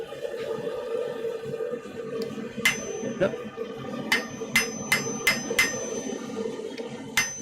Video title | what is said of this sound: Things are getting Scrolly ... in the Smithy! | every now and then you just got to strike the Anvil hard so you can hear it ring it's wonderful